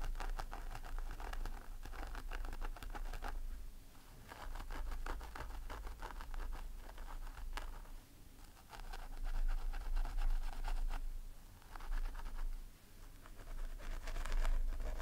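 Medium fingernails of both hands scratch through the crown of a long blonde synthetic wig on a head form. Dense, quick scratching and rustling comes in bursts, with a brighter fibrous crackle over a low rumble.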